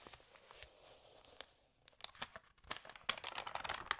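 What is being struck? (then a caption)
Glossy paper magazine. Long nails scratch across the page of an open glossy paper magazine and fingers turn it, making crinkles. A soft, hushed rustle gives way after about two seconds to quick, bright, irregular crinkling snaps.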